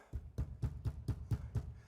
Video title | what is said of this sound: VW T6.1 new speakers and subwoofer installation - DIY - ARS24 | It's all very quiet, so it sounds really very quiet now. There's no rattling or booming.